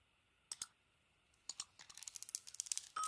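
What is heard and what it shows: A metal utility knife blade carves a solid, hand-sized soap bar held in the hand, its colored striped coating over a white interior, shaving off curls and flakes. Two pairs of quiet, crisp, bright scraping clicks come first, followed by a quick run of sharp little shaving ticks that builds toward the end.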